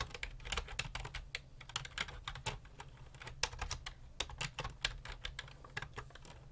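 Fingertips type rapidly on a full-size black and grey plastic computer keyboard with a hollow body, resting on a desk. Quick, bright clicking keystrokes with short, dry decays tumble over one another above a faint low hum.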